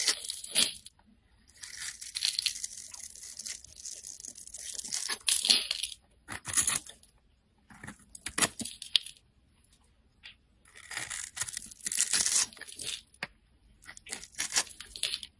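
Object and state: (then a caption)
Bar soap being carved. A solid bright-green bar of soap with a yellow layer, held in the fingers, is scraped and carved with a metal utility-knife blade, and crumbly bits of soap fall off. The audio is bursts of bright, crisp, crackly scraping separated by short silent pauses, with almost no low end.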